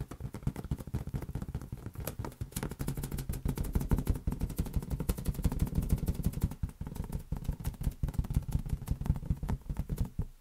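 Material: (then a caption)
Latex rubber. A large, hollow, air-filled green latex balloon is tapped and patted rapidly with fingertips and palm. The result is a dense, continuous stream of short, deep, boomy thuds with very little ring, concentrated in the low end.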